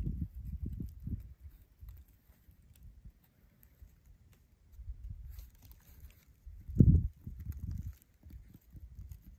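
Fingertips tap and trace along the engraved borer trails of a weathered, bark-stripped dead tree branch, solid, lying on leaf litter. Soft, dull, low thuds and quiet rubbing come in irregular bursts, with a louder, sharper tap near the seven-second mark. Each tap dies almost instantly with no ring.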